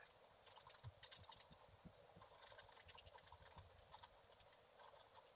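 A thin wooden stylus scratches a thin, black-coated scratch art card lying flat on a table and held by one hand, etching out a picture of water lilies in a pond. The result is a quiet, steady scratchy rasp of many short, bright scrapes over soft, low taps, each stroke dying away almost at once.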